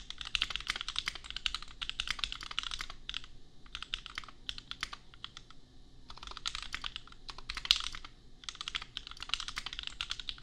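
A custom compact mechanical keyboard with Gateron Milky Yellow switches and red and pink plastic keycaps, priced at $250, is typed on with the fingertips of both hands. Rapid, bright, sharp clacks come in bursts separated by short pauses, with a soft low thock under each press and almost no ring after each key.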